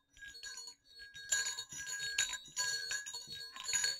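Two small hollow silver metal jingle bells on a cord are knocked against each other, giving a steady run of bright clinks and jingles. Each strike rings out a clear, bright tone centered near 1.6 kHz with high shimmering overtones that fade quickly before the next knock.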